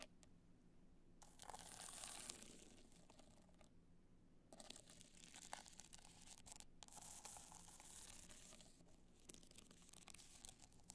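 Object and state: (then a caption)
Rhinestone hard-shell clutch scratched with nails. Long nails scratch down the face and top edge of a black multicolor rhinestone hard-shell clutch standing upright. Bright, raspy scratching comes in uneven bursts, with brief pauses, over a faint steady low hum.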